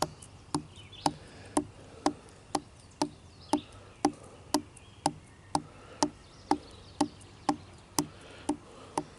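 Fingertips tap and scratch along the rough bark of a thick, solid, dead-looking wooden branch outdoors in the woods. A steady run of short, dry, woody taps comes about twice a second, each dying away almost instantly. A faint bark-scratching texture fills the gaps between them.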